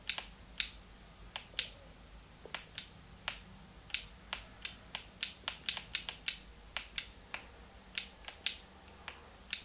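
A small, hollow, translucent pink plastic Game Boy Advance is held in both hands while fingertips click its plastic buttons. About 25 sharp, bright clicks sound at an irregular pace, each dying away almost at once over a faint, steady background hiss.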